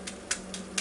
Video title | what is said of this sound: NINJA FOODi XL PRO AIR OVEN AND ROASTED CHICKEN / HOW TO ROAST A CHICKEN / HOW TO AIR FRIED CHICKEN | still sizzling listen to how to hear how crispy that crust is